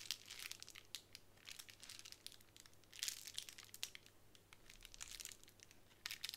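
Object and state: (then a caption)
Plastic bubble wrap. A small clear plastic bubble wrap square rests on a wooden table while long nails scratch across it and fingertips press the bubbles. The result is a busy stream of quiet, bright crinkles and sharp little pops and scratches with almost no low end.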